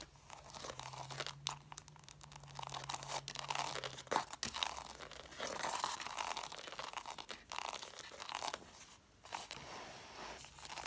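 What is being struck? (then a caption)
Stack of cloth-bound hardcover books, paper page edges. About six red cloth-bound hardcover books sit in a stack, and long matte dark nails scratch and tap along the paper page edges and cover rims. The result is a continuous, dense, dry crunching and scraping texture with bright hiss. Quick taps are mixed in, and a faint low hum runs underneath for the first four seconds.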